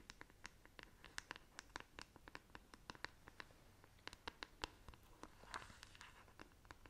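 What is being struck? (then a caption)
Plastic paddle hairbrush. Long nails scratch and tap the smooth back of a black plastic paddle hairbrush, making a quick, uneven series of sharp, bright clicking scratches that die away almost at once. Near the end the brush is turned to its bristle side, and the sound becomes a brief, softer, breathier rasp.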